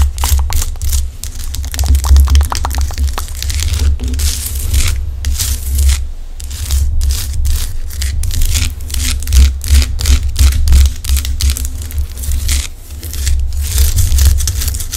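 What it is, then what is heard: Himalayan rock salt lamp. A large, solid pink Himalayan rock salt lamp has its rough crystalline surface scratched and tapped with long acrylic nails, giving a rapid, continuous run of dry crackling scrapes and clicks. A steady low hum sits under the taps, and faint mouth sounds may be present.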